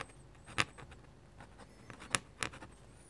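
A metal-nib dip pen makes three short, bright scratches on flat white drawing paper while hatching foliage, with faint lighter strokes between them. The sound is quiet and dry, with a crisp, high scratchy texture and almost no ring.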